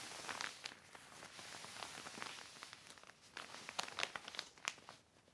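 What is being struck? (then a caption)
Heavy plastic sheet. A black heavy plastic sheet is smoothed by fingertips and wiped with a yellow cloth, crinkling softly. Quiet, bright rustling runs throughout, broken by short, sharp crackles and snaps that fade almost instantly, with almost no low end.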